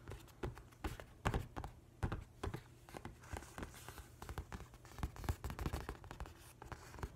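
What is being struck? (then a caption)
Hardcover paper book. Fingernails and fingertips scratch and trace across the printed paper cover of a large, flat hardcover book with a nautilus design. The result is a quiet, dry stream of soft scratches and brief tap-like strokes, mostly low and dull with little high-end brightness.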